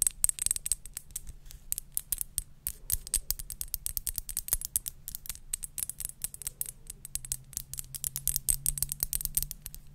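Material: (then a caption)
Glass. Long nails tap and scratch a square clear glass perfume bottle with pink liquid inside and a silver cap. Rapid, bright clicks and scrapes ring briefly off the glass over a steady low hum.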